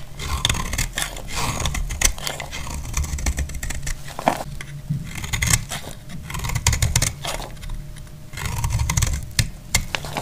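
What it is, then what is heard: Dry bar soap shaved with a blade. A handheld blade scrapes and shaves a solid, dry orange bar of soap, piling up shavings. Rapid dry scraping strokes give off bright, crackly rasps over a steady low rumble, swelling and easing in bursts throughout.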